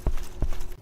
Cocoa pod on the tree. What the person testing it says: when it's mature you can pound on it and if it sounds Hollow then it's it's mature ... it doesn't sound hollow